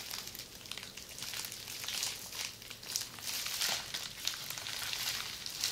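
A roll of red plastic bubble wrap, rolled into a hollow tube and held in both hands, is scratched and squeezed by long nails. The result is a steady, bright crinkling and crackling, almost entirely high-pitched with very little low end, swelling in places with sharp, quick-fading pops and crackles.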